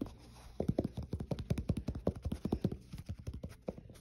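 Fingertips and short nails tap and scratch along the edge of the white foam-rubber midsole of a black athletic shoe, then across the tread pattern on its solid molded underside. The result is a quick, irregular run of dull, low, muffled thuds that stop almost instantly, with faint scraping between them.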